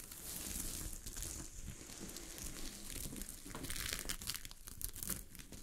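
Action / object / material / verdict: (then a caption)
scrape / fabric sheet covered in small metal-look sequins / sequins / none. Long glittery fingernails scratch a sheet of fabric covered with small gold sequins lying on a surface. The result is a steady, crinkly scratching with bright rasping bursts over a low rumble, continuing without pause throughout.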